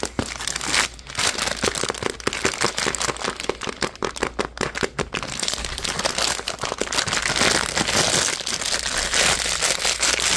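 Fingertips and nails pinch, crumple and crinkle a purple printed plastic packaging pouch, making dense, bright crackles with sharp snaps. The sound runs steadily for about ten seconds, with a brief lull near the one-second mark and a fuller, more continuous crinkle toward the end.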